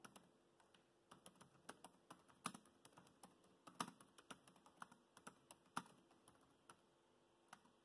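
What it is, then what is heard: Plastic laptop keyboard. Fingertips type on the black plastic chiclet keys of a dark grey laptop keyboard, producing about 28 quiet, short, irregular clicks with a few sharper, brighter taps. Each click dies away almost instantly against a faint steady background hiss.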